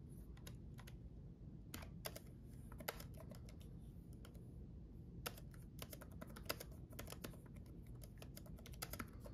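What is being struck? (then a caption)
Plastic laptop keyboard. Both hands type rapid fingertip taps on the red-backlit plastic keys of a black gaming laptop keyboard built into a solid laptop body. Sharp, bright, quickly decaying clicks come in irregular bursts over a steady low hum, with a few taps louder than the rest.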